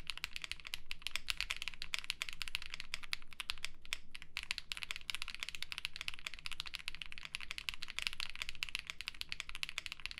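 Two hands type steadily with their fingertips on a black and yellow Mammoth75 mechanical keyboard with a metal case, polycarbonate plate and ABS keycaps. It produces a dense, fast stream of short, bright clacks that die out almost instantly, over a faint steady low hum. The typing pauses briefly around the four-second mark.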